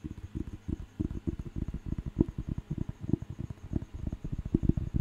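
Fingertips tap and scratch the cover and top edge of a thick, solid paper dictionary book held in the hand. The result is a quick, irregular patter of dull, low, short knocks with no ring, mixed with soft scratching, over a faint steady high tone.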